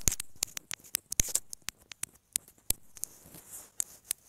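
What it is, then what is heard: Plastic earphone inline microphone, tapped. Long manicured nails tap and scratch the small, hollow white plastic inline microphone housing of a wired earphone cable as it lies on a fabric bed cover. The result is an irregular run of sharp, dry, bright clicks with no ring, with soft scratchy rustling between them and a longer scraping brush in the later part.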